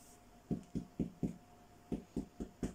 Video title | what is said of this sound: Homemade Bread | Tap on the bottom just to make sure if it's hollow